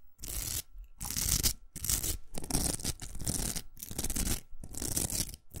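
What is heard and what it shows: Long nails scratch the outer velcro hook surface of a large hollow pink plastic hair roller. The result is a series of bursts of bright, rough scratching with a low hollow rumble underneath, separated by brief pauses.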